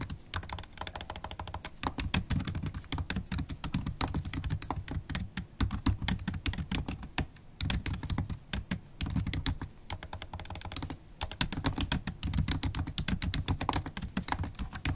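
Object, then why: Laptop keyboard, plastic keys in a metal body. Rapid typing with long stiletto acrylic nails and fingertips on a MacBook Pro laptop keyboard, with low-profile black plastic keys set in a silver aluminum body. Dense, quick clicks with bright, crisp tips over a soft low thump stop dead with no ring. A few brief lulls break the steady flurry of keystrokes.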